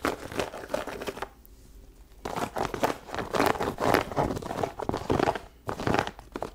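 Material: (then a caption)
Leather. Long nails scratch along the upper and the rubber sole edge of an empty white leather sneaker. Dense, dry, crinkly scratching comes in bursts, with a near-silent pause of about a second early on and a brief one near the end.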